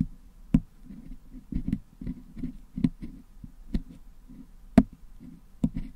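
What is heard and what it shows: A wooden toothpick picks and scratches red and blue putty out of the hollow metal mesh dome of a Blue Yeti microphone head held in one hand. Soft, low, muffled scraping and squishing runs throughout, broken by sharp, dry clicks that flash up bright when the toothpick catches the metal mesh.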